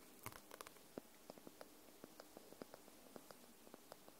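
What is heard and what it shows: Long nails tap the paper spine and edge of a paperback book lying on its side. Quiet, dry little taps come at a slow, uneven pace, each a short soft click with a muted papery body and a faint bright edge, dying away almost instantly over a low background hiss.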